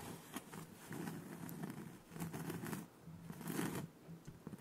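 Fingertips and short nails scratch and rub the textured face of a thin, solid, round cork board about 20 cm across, held upright in front of the microphone with both hands. The result is quiet, dry, scratchy rubbing in several soft bursts, with bright crackly edges over a low, steady hum.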